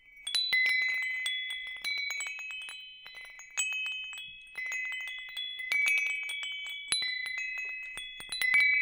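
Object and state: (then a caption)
Metal tube wind chime. A hanging wind chime with hollow metal tubes, held by its hook and swayed, rings out in bright, overlapping metallic tones. Clusters of strikes arrive in waves, and each sustained high note hangs and slowly fades under the next.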